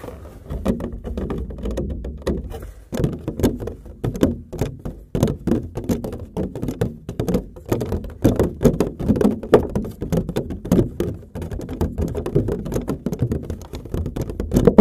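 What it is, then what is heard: Empty cardboard box. Fingertips tap and drum on the top of a large, empty, hollow corrugated cardboard box, producing a steady run of many sharp, thunk-like taps. Each tap is a dull, low, hollow knock that dies away almost at once, with no high ring.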